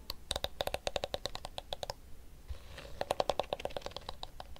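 Fingernails tap the hollow blue plastic back of a blue and pink detangling hairbrush, and fingertips rub its pink plastic teeth. Quick, sharp plastic clicks with a slight hollow tone come in rapid bursts. A short pause of soft, faint rubbing separates the two runs of tapping.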